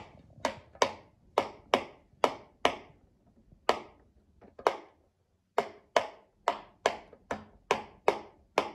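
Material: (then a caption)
Silicone. A child presses the hollow bubbles of a rectangular rainbow silicone pop-it fidget toy with a mint-green base using her fingertips. Sixteen short, crisp pops sound one after another, each a bright midrange snap that dies away almost at once. There is a brief quiet pause in the middle before the steady popping resumes.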